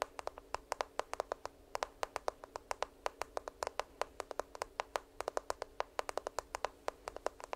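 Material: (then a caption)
Plastic. A smartphone in a black case, held upright by the microphone, is tapped and scratched with long nails, giving about fifty quick, dry, clicking taps that die away almost instantly. The taps come in an uneven, rapid rhythm over a quiet, low background.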